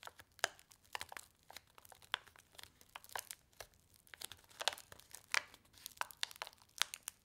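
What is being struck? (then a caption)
Paper-foil laminated soup sachet with dry powder. A single paper-foil laminated instant soup sachet filled with dry powder is rolled up tightly between fingertips with long nails, crinkling and crushing it. Quiet, bright, sharp crackles and crunches burst out irregularly with almost no low end, each snap dying away instantly.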